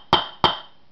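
A steel rear wheel bearing in the wheel hub of a 1986 Ninja 600 is hammered in through a socket laid on the metal surfaces. Two sharp metallic impacts ring out with a bright tone around 3 kHz and a quick decay. The changed impact sound shows the bearing has bottomed out and is fully seated.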